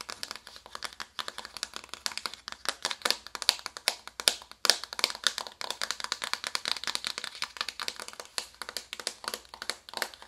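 A small, flat, hollow cardboard makeup palette box, held upright, is tapped rapidly with long acrylic nails. Dense, irregular bursts of dry, bright clicking taps die out almost instantly, with no low end.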